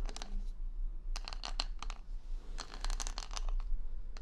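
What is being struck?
Wooden hair brush covered in plastic rhinestones.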